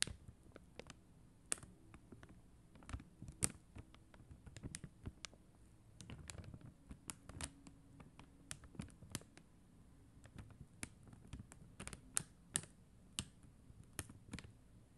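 Long acrylic nails tap rapidly on the gems of a flat sheet of plastic rhinestone stickers on a white backing. Quiet, sharp clicks and light pattering taps sound in uneven bursts, each dying away almost at once, over a soft low rumble with a bright edge.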